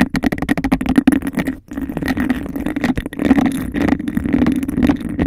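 Long nails tap fast on the base of a clear, textured, hollow glass cup placed over the mic and scratch along its sides. The result is a rapid, hollow clatter with a low resonance around 260 Hz and a faint ringing band near 2 kHz. The taps break off briefly before resuming with continuous rasping scratches.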